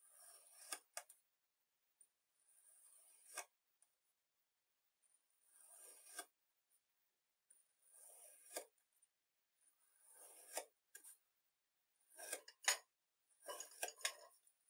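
A rainbow-coated metal knife presses down and slices through a solid, moist-looking rectangular block of pink kinetic sand already scored into thin slices. Each pass makes a soft, gritty, bright scraping hiss that swells and ends in a brief sharper crunch as the blade scrapes through the sand. The slices repeat irregularly, separated by short silent pauses.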